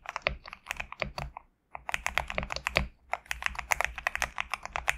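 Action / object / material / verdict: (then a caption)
tap / mechanical keyboard with PBT plastic keycaps / PBT plastic / none. Fingertips type rapidly on a GMK67 compact mechanical keyboard with PBT plastic keycaps, producing a dense run of short, bright clacks with a faint low thump under each keystroke. The typing stops briefly around the middle and pauses again shortly after, then resumes at the same quick pace.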